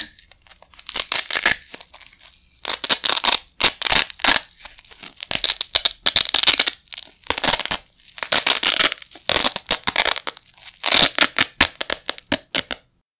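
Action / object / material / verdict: scrape / nylon hook-and-loop Velcro patches / nylon / none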